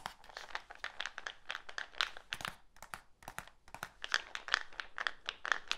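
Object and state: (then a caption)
Plastic supplement tub. A medium, hollow black plastic supplement tub with a screw lid and label, contents not visible, is held in one hand while the fingertips and nails of the other hand tap and scratch it. The result is a rapid, irregular run of dry, crisp clicks and scratchy crinkles, bright and midrange with very little low end. Each tap dies away almost instantly.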